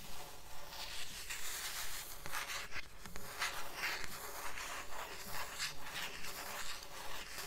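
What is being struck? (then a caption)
Paperback book with paper cover. Long nails tap and rub the paper cover of a thick blue paperback book held upright above a stack of books. The result is soft, steady tapping mixed with dry, papery scratching and rubbing that repeats in a quick, fairly regular rhythm.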